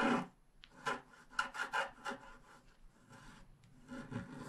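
A wooden stylus scratches grass along the bottom edge of a flat, wax-coated scratch-art paper card. Short, dry, raspy strokes start and stop in quick bursts, with a soft papery rub between them.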